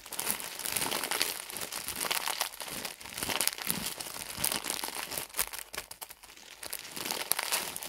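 A soft, full pad package wrapped in thin plastic film is squeezed and crinkled with the fingertips of both hands. A dense, continuous bright crackling of plastic rises and falls in bursts with almost no low end, briefly dipping quieter toward the end.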